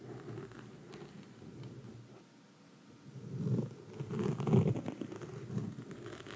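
Long red nail tips scratch a black foam microphone windscreen, making a low, muffled scratchy rustle. The sound is soft at first, fades almost to nothing around the middle, then returns in louder, thicker bursts of scraping before settling back to a steady scratching.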